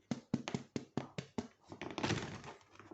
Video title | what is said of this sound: Préparation d'une baguette étape 11 (finale) - Sortie du four | le bruit sourd qui veut dire que c'est bien cuit